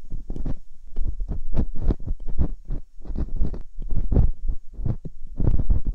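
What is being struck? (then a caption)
Silicone ear mould scraped with a metal dental pick. Metal dental picks probe and scratch inside the ear canals of the silicone ear molds on a binaural microphone. The result is a close, muffled run of deep thumping scrapes and rustles, almost all low in pitch, pulsing in quick uneven bursts with a faint steady hum underneath.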